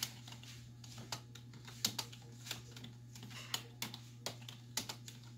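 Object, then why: Plastic computer keyboard. Long white nails and fingertips type on a black plastic desktop keyboard with hollow keys. Irregular, bright, clicky keystrokes sound over a steady low hum.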